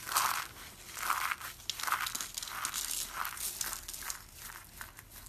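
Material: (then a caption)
Soap. Hands with dark green nails scoop, squeeze and rake through a pile of crushed dry orange soap shavings and flakes, small brittle pieces. Dry, crinkly crunches come in irregular, overlapping bursts, each centered around 1 kHz with bright, hissy highs above and almost no low end.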